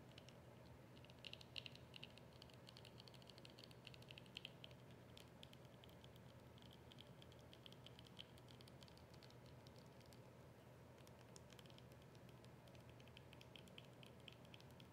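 Long acrylic nails tap rapidly and steadily on a small, hollow white and yellow plastic squeeze tube for about 15 seconds. The quick, light, bright clicks and patters run together over a faint, steady low hum, with a few slightly louder taps near the start.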